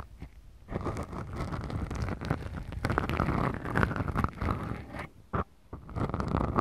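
Long, glittery, manicured nails on both hands scratch two small black foam windscreens fitted over the microphone capsules of a Tascam DR-40X recorder. The result is a dense, continuous scratchy rustle with a heavy low rumble and faint brighter grit. It starts quiet, swells after the first second, and dips into brief near-silent pauses late in the clip.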